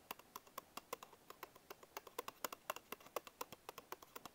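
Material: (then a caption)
Cardboard. A small paperboard Bisco biscuit box is held in one hand while fingertips and short nails tap and scratch its printed front panel. About 32 quick, dry, quiet taps come at an uneven pace of roughly four per second, each a short hollow knock with a bright click on top and almost no ring.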